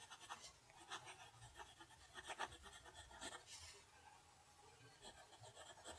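A steel-nib fountain pen held in the fingers writes cursive on a flat sheet of lined notebook paper lying on a desk. The nib scratches across the paper in a quiet, continuous series of short, bright, papery strokes. Each stroke stops dry with no ring.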